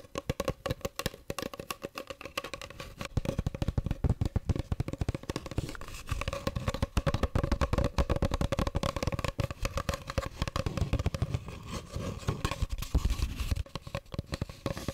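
Long pink acrylic nails rapidly tap and scratch a small, hollow, empty cardboard toilet paper tube held close to the mic. The result is a dense stream of short, dull, hollow taps with scratchy rustling. A faint steady tone hums underneath throughout.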